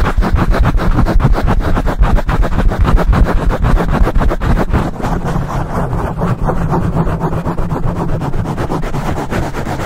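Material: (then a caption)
Foam. Fingertips scratch fast and aggressively on both sides of a black foam microphone windscreen. The result is a dense, rapid rasping that is heavy in low rumble, with a steady low tone running underneath. It eases slightly in loudness about halfway through.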